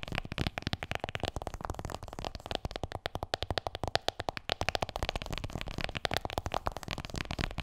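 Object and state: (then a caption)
Smartphone in plastic case, tapped. Long nails rapidly tap and scratch an iPhone in a black plastic case, held upright behind the mic, striking both the case and its edges. The result is a fast, steady run of dry, clicky taps with a faint tone around 700 Hz, mixed with light scratching and no ring after each hit.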